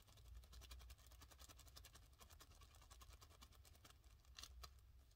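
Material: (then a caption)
Plastic. A thin, empty, hand-sized white plastic bag printed with a Crest/Oral-B logo is held in both hands and crumpled and rubbed with the fingers. It produces a steady stream of quiet, bright crinkling crackles over a low rumble, with a couple of sharper crackles near the end.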